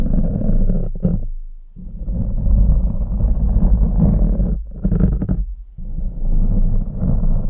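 Two green plastic forks, held by fingers, scratch and rake their tines over a black foam windscreen on a microphone. The result is a dense, low, rumbling scrape with almost no high end, broken by brief quiet gaps as the strokes pause and resume.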